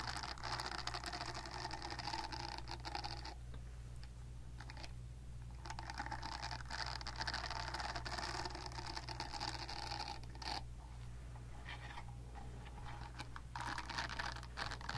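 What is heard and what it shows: Long nails scratch and tap across the surface of a palm-sized, solid silicone facial cleansing brush pad. The result is a dense, continuous patter of dry scratching with quick ticks, bright bands that fade and return, and a steady low hum underneath.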